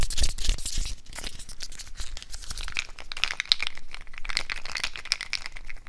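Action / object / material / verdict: scrape / natural cork wine stoppers / cork / none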